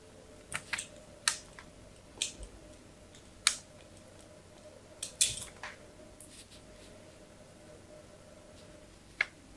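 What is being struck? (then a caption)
Bar of soap scored with a metal knife. A thin metal carving knife scores a crosshatch pattern into a solid, palm-sized white bar of soap held in one hand. Short, bright scratching and scraping strokes come in quick clusters with pauses between, each ending abruptly over a faint steady background hum.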